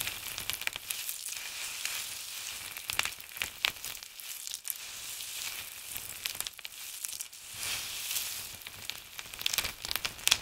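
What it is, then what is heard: Dry soap shavings being crushed. Both palms and fingertips press and rub into a large heap of crisp blue and grey dried soap flakes on a table, crushing them. A dense, bright crackling like sizzling runs throughout, almost all high-pitched with no low end, broken by sharper crunchy snaps that stand out.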